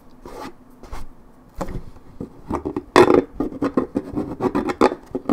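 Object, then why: Paperboard juice carton, coated cardboard. Long nails scratch deeply at a worn spot on the coated cardboard of a 1.75 L Minute Maid paperboard orange juice carton. A quick series of short, dry rasping strokes comes in uneven bursts, centered in the mid range with little low end. The loudest strokes land around the middle of the clip.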